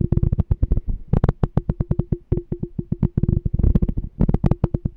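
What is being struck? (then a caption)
Small glass canister jar. A small, clear, empty glass "Smart Canister" jar with a pink label and a checkered lid is held in one hand while fingertips tap and scratch its side. The result is a rapid run of short, dull, low thuds with a faint steady ringing tone underneath.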